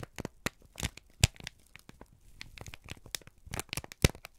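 A single thin, crumpled sheet of brown kraft paper is held in both hands and squeezed and crinkled with the fingertips and thumbs. It makes a run of dry, uneven crackles and crunches with a low thump under each press and bright crinkling on top. Two sharp loud snaps stand out, one early and one near the end.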